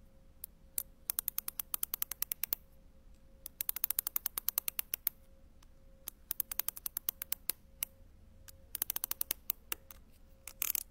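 A dark-handled tool taps and scratches across a sheet of small round grey and white ceramic penny tiles on a white backing, while the other hand holds the sheet. Many sharp, bright clicks arrive in quick clusters with pauses between them, each dying away almost instantly. A faint steady hum sits underneath throughout.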